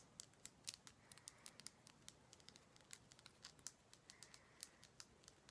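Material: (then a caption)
Rock salt. Fingers tap on a heavy Himalayan salt rock lamp in a quick, uneven series of light taps. Each tap is a short, dry, bright click that dies away almost instantly, with a faint hiss underneath.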